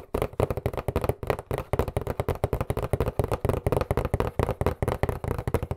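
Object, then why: Cardboard box. Fingertips tap quickly across the surface of a hollow, white printed cardboard box held upright. About 29 rapid, dull, hollow thumps follow one another at a fast, uneven pace. The sound is weighted toward the low end with little brightness, and each tap dies away almost instantly.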